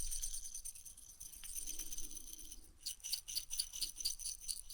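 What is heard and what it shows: A glass jar is shaken as an ASMR trigger, giving a bright, high jingling rattle with a soft low rumble underneath. The rattle starts as a steady shimmer, then after about three seconds breaks into sharper, rhythmic shakes that keep ringing brightly.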